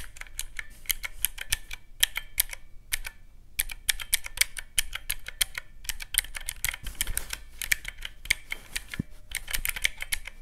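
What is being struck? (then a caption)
Plastic calculator with mechanical keys. Fingertips repeatedly press the round black mechanical keys of a small teal plastic calculator. Sharp, bright clicks come in quick, irregular bursts with short pauses between them, each one dying away almost at once over a faint low background rumble.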